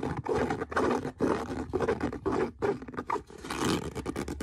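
Fingernails scrape across the leather of a brown leather boot in a series of rough, raspy strokes separated by brief pauses. The scratching has a gritty midrange texture, and the final stroke sounds slightly brighter and more hissing.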